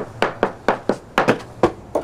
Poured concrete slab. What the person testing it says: No, this is hollow here, for sure. That's hollow.